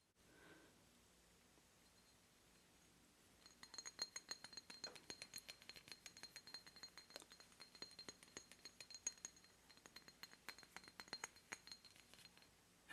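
An obsidian statue of a Mayan goddess, bought in Mexico, is tapped repeatedly, giving a rapid series of short, bright, glassy clinks. After about three and a half seconds of near silence, the taps begin and carry on to the end. They are quick and uneven in loudness, with almost no ring after each one.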